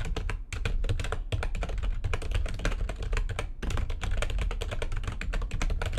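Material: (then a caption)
Plastic. Long nails on both hands type fast on a full-size plastic backlit computer keyboard. The result is a dense, steady stream of short, dry key clicks and taps over a heavy low thump, with brief pauses near 1.3 and 3.6 seconds.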